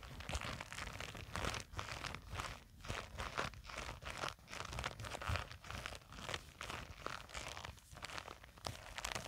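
Long acrylic nails scratch across and squeeze a small black printed nylon zippered cosmetic pouch that rests on a table and seems to be filled. Quiet, dense crunchy scratching and crinkling comes in rapid overlapping strokes, with bright fabric texture over a soft low rumble. It swells and dips in waves without stopping for the whole clip.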